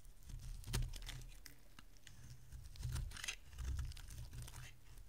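A solid rectangular bar of dry pink soap, held in the hand, is carved with a metal utility blade. It makes a series of soft, crumbly scraping and crackling cuts with bright, papery shaving edges over a low, muffled rumble, swelling in a few louder strokes.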